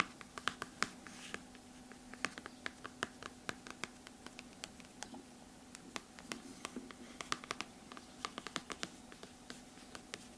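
Long red-painted nails trace and scratch across the glossy cardboard cover of a large hardcover book, "Exoplanètes," lying flat and solid on a table. Dozens of sharp, bright nail taps and clicks punctuate soft scratching over a faint steady hum.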